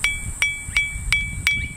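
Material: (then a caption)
Glass. A glass of water is tapped five times with a wooden spoon, each tap giving a soft, gentle ring at about 2.3 kHz that fades quickly. The taps come at an even pace, each one smooth rather than harsh.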